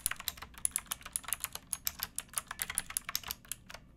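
Both hands type with fingertips and nails on a pink backlit mechanical keyboard with plastic keycaps. About 26 quick, bright, clicky keystrokes come in a steady run with no ringing between them.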